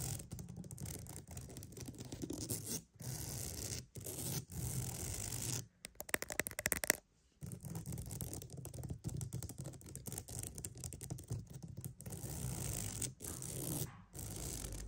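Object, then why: Wooden mat. A wooden mat is tapped and scratched for ASMR, giving close, dry, continuous scraping with a low rumbling body and a bright hiss, broken by short pauses. In the middle comes a burst of quick, sharp taps before the scratching resumes.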